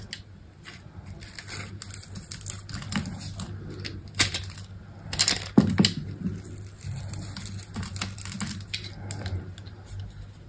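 A utility knife blade scrapes and cuts chips off a solid rectangular soap bar with a black textured coating and white interior, held in the hand. Quick, crisp scraping ticks continue throughout, with a few sharper, louder cracks in the middle as chips break away. A steady low hum sits underneath.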